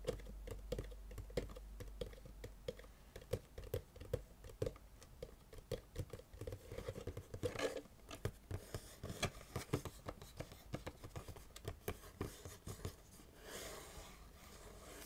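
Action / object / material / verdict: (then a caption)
tap / small printed cardboard box / cardboard / none. Fingertips and nails tap and scratch the flat sides of a small printed cardboard box for a galaxy projector light, likely containing the product, as it is held in both hands and turned. Dozens of quick, dull, hollow taps patter in irregular bursts, mixed with short scraping rubs, with a steadier brushing scratch near the end.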